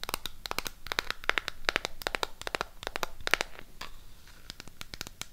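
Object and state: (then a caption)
Cardboard eyeshadow palette case. Long pink acrylic nails tap and scratch on the closed cardboard case of a burgundy Harry Potter SHEGLAM eyeshadow palette. A rapid, irregular series of sharp, dry clicks and brief scratchy crackles sounds bright, with each tap stopping almost instantly.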